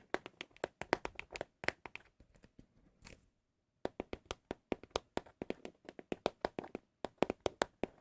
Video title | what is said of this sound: asmr ☾ your MOST requested asmr triggers 🤫 | They just sound so good.